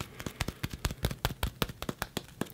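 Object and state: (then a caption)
Plastic-leather sparring glove. Light taps on a karate sparring glove made of a plasticky leather. Fourteen quick, dull taps with almost no ring, mostly low-pitched thuds with a faint crisp edge.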